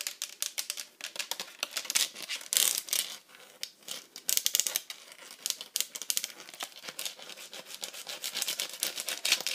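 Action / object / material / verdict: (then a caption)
tap / plastic tablet case / plastic / none. Very long acrylic nails fast-tap and scratch a hollow, rugged bright pink plastic iPad cover with cut-outs and a teal grip strip. The result is a dense stream of quick, bright, clicky taps and scratchy rasps with almost no low end, each tap dying away almost instantly. The bursts come in uneven clusters, with a brief lull near the middle.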